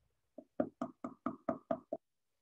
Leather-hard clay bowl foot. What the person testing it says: by tapping on it you can sort of test how hollow it is how much how dense how thick this is